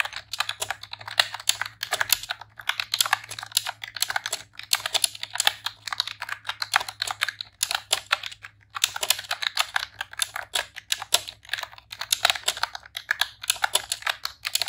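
A pink retro-style plastic computer keyboard with round keycaps is typed on rapidly with long press-on nails and fingertips. The result is a dense stream of short, bright clicky key taps with brief pauses around 2.2, 4.7 and 8.7 seconds. A faint low hum runs underneath.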